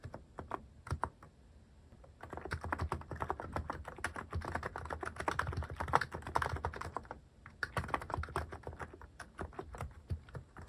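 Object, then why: Mechanical keyboard with plastic keycaps. Fingertips type quickly on a white-cased mechanical keyboard with cream, orange and brown plastic cat and paw keycaps, resting on a cloth pad. A few scattered taps give way to a dense run of short, dry clacks with a low thocky body and almost no ring. After a brief pause near seven seconds, the rapid typing resumes.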